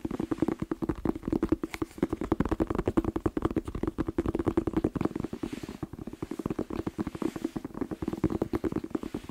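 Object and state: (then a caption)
Red bell pepper. A whole, hollow red bell pepper held just below the microphone is tapped quickly with fingertips. The result is a fast, steady stream of short, dry, hollow knocks with a low-mid resonant tone that die away almost instantly.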